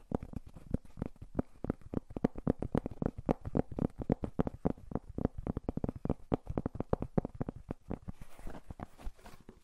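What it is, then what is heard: Cork coaster being scratched. A round, flat, thin and solid cork coaster is held over a furry microphone and rubbed and scratched with fingertips. It gives a quick, uneven stream of soft, dry scratches and taps, about four per second, heavy in low thumpy tones with little brightness. Each stroke dies away at once.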